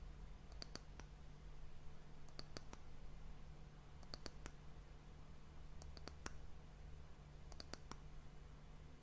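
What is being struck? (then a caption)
Wooden end cap of an hourglass. Long nails tap the round, solid, glossy brown wooden end cap of a glass hourglass, giving short, sharp, bright clicks that die away almost at once. The taps come in quick clusters spaced about every second and a half, over a steady low hum.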